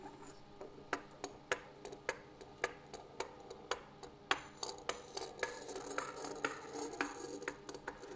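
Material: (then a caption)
Wood. A wooden table surface is tapped in a quiet, irregular rhythm. Each tap is a short, dry knock with a mid-range tone around 1.1 kHz and a bright click on top, dying away almost instantly. The taps come in clear, spaced strikes at first, then grow quicker and blur into a softer patter toward the end.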